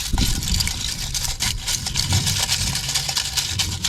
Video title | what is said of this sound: Prepare Vegetable Garden Soil - Early Season Organic and Biochar | take it down to carbon you can hear it sounds like glass